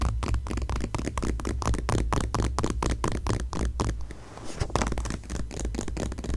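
Long nails and fingertips scratch and rub across the glossy page of a single paper magazine lying flat on a grey fleece blanket, opened to a full-page photo ad, with the microphone nearby but untouched. Quick, repeated scratchy strokes sit over a steady low rumble. The scratching briefly softens into a smoother rub before the strokes pick up again.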